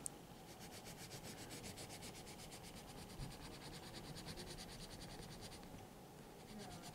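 Fingers hold a red colored pencil and shade a drawn letter in rapid strokes on a large open sketchbook with a thick stack of white paper pages resting flat. The pencil tip rubs and scratches across the paper in a steady run of quick, bright, papery strokes over a low, soft rumble.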